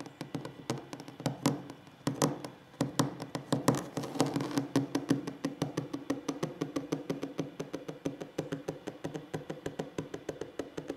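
Fingers tap and knock on a wooden table in a relaxing ASMR-style session. The short, dry, woody knocks carry a low-mid body and die away almost instantly, irregular and clustered at first, then settling into a quick, steady stream of taps.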